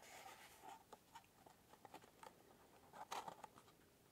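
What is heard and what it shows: Fingertips slide and scratch along the paper-covered surface and inner tray of a small hollow cardboard matchbox held in both hands in front of the face. The result is a quiet, dry papery scratching with about nine brief brushing taps, centered in the midrange near 900 Hz with a faint bright hiss. A louder cluster of scratches comes near the end.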